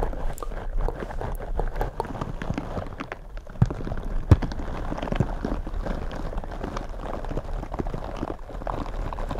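Fingertips in purple rubber gloves tap and scratch two black foam microphone windscreens. The result is a dense, steady, low, muffled rustling and scratching with soft thumps, and a few sharper taps stand out around the middle.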